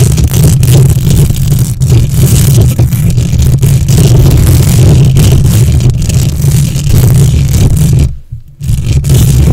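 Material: Metal mesh.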